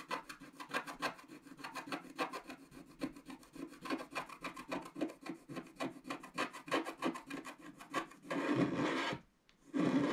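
A wooden stylus scratches the black background off a solid, black wax-coated scratch art card lying flat, working along its left edge. About forty quick, dry rasping strokes come in a rapid, uneven rhythm. Near the end they give way to a longer continuous scrape, a brief silence, and then another sustained scrape.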